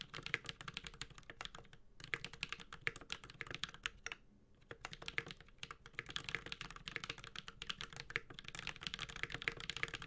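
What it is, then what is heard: Mechanical keyboard being typed on. A Space65 Cybervoyager 65% mechanical keyboard with a white-gold aluminum case, carbon fiber plate, plastic keycaps and tactile Holy Panda switches is typed steadily with the fingertips of both hands. Its fast, bright, short clacky keystrokes run continuously with a low thocky undertone, pausing briefly around 2 and 4 seconds.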